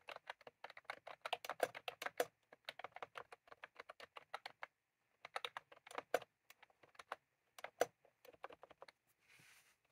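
Fingertips of both hands type continuously on a full-size plastic computer keyboard with round cream typewriter-style keycaps, resting on a desk. The result is fast, crisp, clacky keystrokes in uneven bursts, broken by a pause around five seconds. A soft, brief hiss comes at the end.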